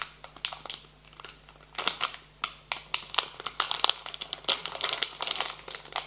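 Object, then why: Printed plastic foil candy bag. A full, medium-sized printed plastic foil bag of marshmallow candies lying on a table is pressed and rubbed flat with fingertips and palms. It gives off bursts of bright, sharp crinkling and crackling with almost no low end. The bursts come in quick irregular clusters that grow denser and louder over the second half.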